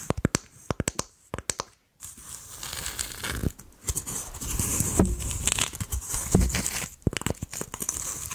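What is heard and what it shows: Long acrylic nails tap a hollow, empty brown coconut shell half held in both hands in front of the mic, giving a run of sharp, quick clicks for the first two seconds. After a brief pause, the nails scratch across the shell's fibrous outer surface in a steady, bright rasping crackle, with a few more sharp taps near the end.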